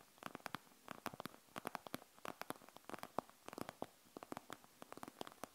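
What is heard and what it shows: Fingernails tap fast and scratch along the gel-bead plastic front of a panda gel bead eye mask resting on a wooden table. About thirty quick, dry, sharp clicks and ticks come in uneven bursts, centered in the midrange with brief bright edges and no ring. It is quiet and close.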